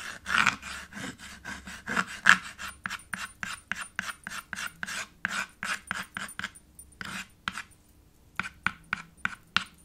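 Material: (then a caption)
Chalk. White chalk is rubbed back and forth across a small dark chalkboard slate in a red wooden frame to fill in an area. The result is a rapid series of short, bright rasping scrapes. They come in a steady rhythm, pause briefly, then resume.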